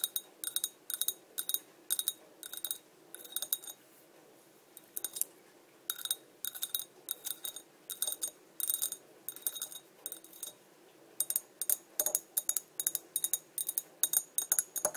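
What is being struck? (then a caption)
Small glass bottle. Long dark nails tap and scratch the embossed side of a small, empty, clear Coca-Cola glass bottle held in the hand. Quick, bright clicks come in rapid bursts with short pauses between them, each tick sharp and dry with almost no ring and nothing in the low end. Soft scraping fills some of the gaps.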